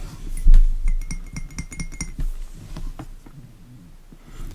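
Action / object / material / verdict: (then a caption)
tap / glass fragrance bottle / glass / none. Tapping on the glass bottle of a Zara Ebony Wood fragrance, about 90 ml, just taken out of its box. A quick series of light taps gives bright, clinking glass sounds with a short ring, then the taps grow softer and more sparse.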